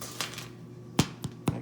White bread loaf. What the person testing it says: thump it make sure kind of hollow sounding like a melon